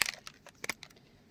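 A plastic Distress Oxide spray bottle is shaken before spraying, and the small mixing ball inside rattles as it mixes the pigmented ink. The result is a quick series of quiet, bright, high-pitched clicks and rattles.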